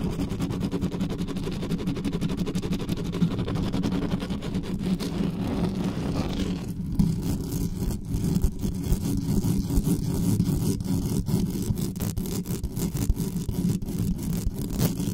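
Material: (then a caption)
Metal mesh. Long nails aggressively scratch the top and sides of a black condenser microphone's hollow metal mesh grille while it sits on a stand. The result is a continuous, dense, low scratchy rumble with many rapid small clicks. Partway through, the faint brighter hiss drops away, leaving it darker and more muffled.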